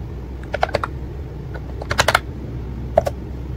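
Fingertips of both hands type on a white and pink plastic ACTTO wireless keyboard with round keycaps. Eight short, crisp plastic clicks with a mid-range tone come in three loose clusters over a steady low background hum, each click dying away almost instantly.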